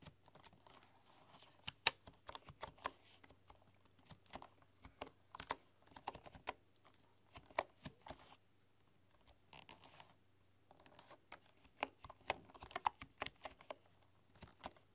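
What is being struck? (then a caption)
Bamboo keyboard with wooden keys. Slow typing and tapping with fingertips and long nails on a full-size bamboo computer keyboard with wooden keys. Quiet, sharp, dry clicks land in an uneven rhythm with a brief pause midway, each one short and bright with almost no ring.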